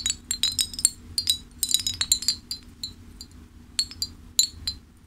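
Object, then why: Ceramic fish wind chime. A hanging ceramic fish wind chime is held up by one hand while the fingers of the other hand flick and jostle the hanging pieces to clink them together. It gives bright, high, short clinks in rapid irregular clusters, with quieter gaps between bursts.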